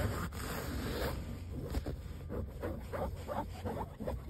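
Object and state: Fabric car seat upholstery.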